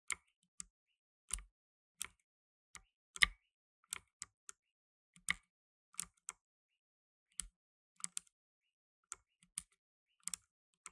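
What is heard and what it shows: Blue nitrile-gloved fingertips type on a black tenkeyless mechanical keyboard with plastic keycaps. About 19 sharp, bright, dry clicks are heard at an uneven, unhurried pace with quiet gaps between them.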